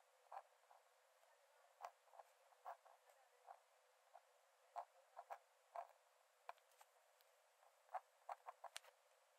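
A metal nib in a wooden dip-pen holder scratches about 17 short strokes onto the cream paper page of an open sketchbook lying flat on a dark desk while drawing. Each stroke is a quiet, dry, brief scratch centered in the midrange around 700 Hz, with no low end. The strokes are separated by near-silence and a faint steady hiss.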